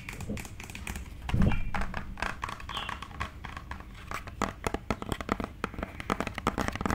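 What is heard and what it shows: Long nails tap rapidly on a hollow white plastic cosmetic tube or bottle with a green cap, including close to the camera. The result is a dense run of short, dry clicks over a soft low rumble, with a louder, fuller knock near the start and sharper, crisper taps toward the end.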